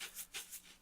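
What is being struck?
Container of breadcrumbs.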